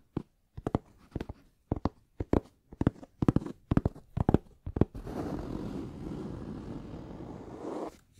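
Fingertips tap the lid of a closed, hollow, medium black rounded hard-shell headphone case, a molded shell covered in fabric, held upright by hand. About five seconds of quick, uneven, dull hollow taps give way to a steady, low rasping scratch across the fabric-covered lid that runs for about three seconds before stopping.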